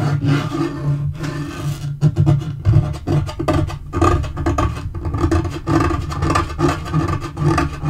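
Short fingernails scratch and fingertips tap a dark wood-grain laminate portable table top. The result is a continuous low, rumbling texture of rasping scrapes and soft, dull taps with little high-end brightness.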